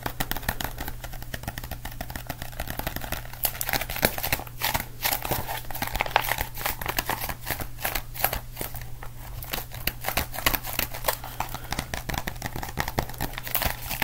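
A solid black-and-white marbled cardboard composition notebook is held in both hands while fingertips tap and scratch its cover. The result is a dense, continuous stream of quick, dry taps and crinkly scratching over a steady low hum.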